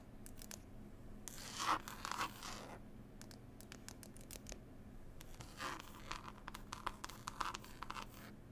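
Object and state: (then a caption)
Cloth-covered hardcover book. Long pointed nails scratch and tap on a closed, solid hardback book, "Passenger Whispers," with a green cloth cover and a pasted illustrated label. Dry, bright scratching sweeps and many quick taps come in clusters over a steady low hum. The louder bursts of scratching fall near the start and toward the end.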